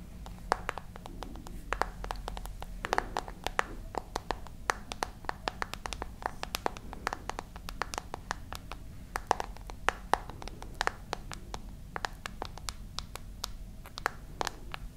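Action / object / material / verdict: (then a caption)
tap / glass and metal smartphone / glass / none. Long nails tap and scratch the glass screen and metal frame of a handheld glass-and-metal smartphone. Rapid, irregular bursts of sharp, bright clicks stop almost instantly, with faint scratching between taps, over a steady low hum.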